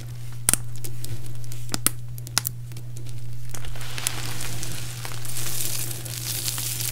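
Fingertips with long painted nails pick up and rub pieces from a large heap of small, brittle, multicolored dried soap shavings and chips, making sharp, bright crackles and clicks over a steady low hum. Then both hands scoop and crush handfuls, producing a dense, continuous, high crunching rustle.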